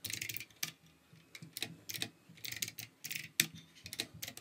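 Fingertips type steadily on the keycaps of a plastic RGB mechanical keyboard, producing bright, clicky taps with very short decay. The keystrokes come in irregular bursts separated by brief pauses, with little low-end weight.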